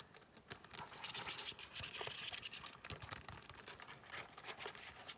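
Long nails scratch and tap the glossy black faux-leather card slots inside an open zip-around wallet held in both hands. The result is a quiet, dense run of crisp, bright scratching and light tapping with short clicks throughout.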